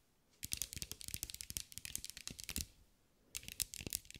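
A green mirror-glass mosaic sphere, held in the hands, is tapped and scratched with long acrylic nails. Rapid, bright clicking taps with a scratchy edge come in a dense run, then stop briefly before a second burst. Each tap is crisp and dies away almost at once.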